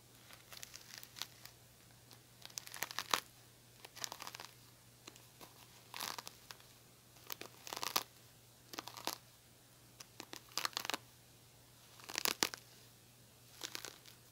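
Fingernails pluck and scratch the plastic bristles of a silver-handled oval cushion hairbrush. The result is quiet bursts of bright, crackly, high-pitched clicking and scraping, separated by short pauses. A faint steady low hum runs underneath.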